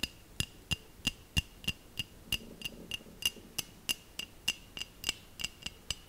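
Long nails tap a small hollow glass bell ornament held close to the mic. About 21 light, sharp clicks come at a steady pace of roughly three per second. Each tap gives a brief, bright glassy ping with a clear ring near 2.8 kHz.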